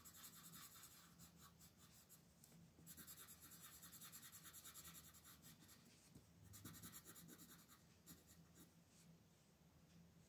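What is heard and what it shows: A thin paper coloring page is held flat with one hand while the other shades it with a purple wooden colored pencil. Quiet, scratchy rubbing strokes come in rapid, uneven bursts, with bright, hissy grain over a faint low hum.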